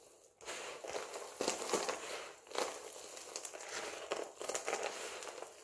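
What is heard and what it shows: A pile of multicolored dry soap flakes is gathered and squeezed in both hands, giving a dense, dry crunching and crinkling. After a brief quiet start, it keeps up a steady bright crackle with repeated louder crunchy bursts as the flakes are pressed together.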